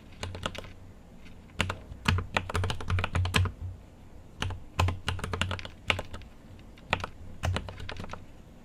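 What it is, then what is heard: Mechanical keyboard with plastic keycaps. Fingertips type on a mechanical keyboard with an aluminium case and plastic keycaps, producing quick bursts of keystrokes separated by short pauses. Each press gives a deep, thocky low body with a bright, sharp click on top, dying away almost instantly.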